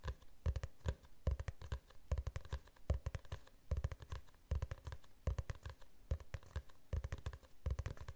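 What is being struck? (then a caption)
Hardcover book with glossy cover. Fingernails tap rapidly on the cover of a glossy hardcover book held at a tilt. The quick, dry taps come in repeated flurries about a second apart, each with a dull, low thump and almost no ring. The result is a soft, close, steady patter.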